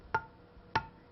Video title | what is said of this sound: Home Food Preservation: How To Make Jams & Jellies | Hear that dull sound? That tells me this jar hasn't sealed.